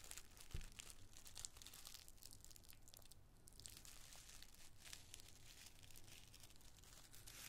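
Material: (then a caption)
Tissue paper. A wad of small, thin, colored tissue paper squares is squeezed in the fist and crinkled between cupped palms with the fingertips. The result is a steady, dense crinkling with bright, crisp crackles over a soft low rumble, with one sharper thump near the start.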